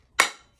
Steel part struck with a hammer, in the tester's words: It's got a little bit more of a ring to it. Hear that? And it's got more bounce to it. Tells me it's down.